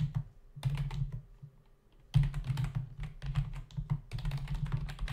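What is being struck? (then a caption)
Plastic membrane computer keyboard. Fingertips of both hands rapidly type on a black plastic membrane desktop keyboard with hollow key caps. The result is dense bursts of hollow, clacky taps with a low thump, with a short lull before the typing resumes continuously.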